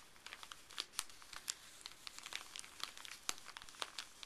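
Fleece-gloved fingers crinkle, fold and unfold a small, thin, folded white paper wrapper with blue print. The result is a quiet, dense run of sharp, bright crinkles and crackles that die away almost instantly, with very little low end.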